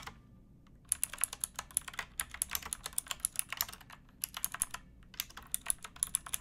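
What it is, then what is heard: Plastic mechanical keyboard typing. Both hands type with fingertips and nails on a pink backlit mechanical keyboard with plastic keycaps. After a brief quiet start, bright, crisp plastic clacks come in quick bursts with short pauses between runs. Each keystroke is sharp and dies away instantly over a faint low background hum.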